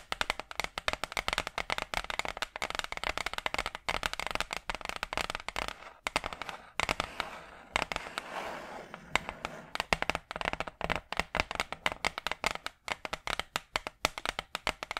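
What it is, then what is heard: Hardboard clipboard. Long acrylic nails tap rapidly on a large, flat, brown hardboard clipboard, a solid thin board held in front of the mic. Dense, crisp clicks and ticks with a bright edge stream by with almost no ring, easing briefly into a softer scratchy rustle around the middle before the fast tapping resumes.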